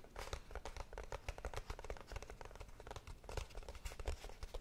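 A small, hollow, closed kraft cardboard box is held in both hands and tapped and scratched with long painted nails. A rapid, continuous stream of soft, dry taps and scratchy strokes each die away almost instantly over a deep, hollow thump from the box.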